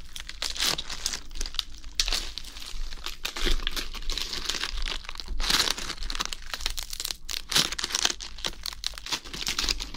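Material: Lettuce leaves.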